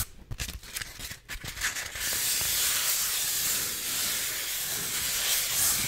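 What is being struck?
Styrofoam block.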